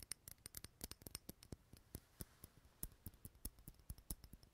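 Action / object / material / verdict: tap / small glass candle jar filled with wax / glass / none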